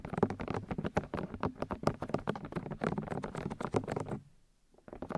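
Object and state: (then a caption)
Plastic microphone ear housings tapped with nails. Long nails and fingertips tap quickly on the white plastic ear discs of a 3Dio binaural microphone, producing a dense run of short, dull taps with low-mid body around 215 Hz and little brightness. After about four seconds the tapping stops for a near-silent pause, then a few softer taps return at the end.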